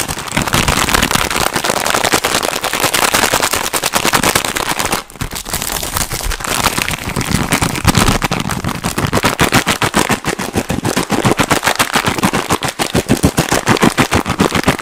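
A long yellow printed plastic biscuit packet, full of biscuits, is gripped in both hands and squeezed and crinkled with the fingertips close to the microphone. The result is a loud, fast run of sharp, crackling crinkles that snap and pop almost like firecrackers, dipping briefly just after five seconds.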